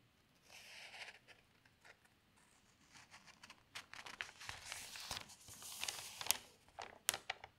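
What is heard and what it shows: An open newsprint newspaper has its large, thin pages lifted and turned by one hand while the other smooths them flat. Soft, bright crinkling and rustling swells and fades, broken by sharp crisp snaps near the end.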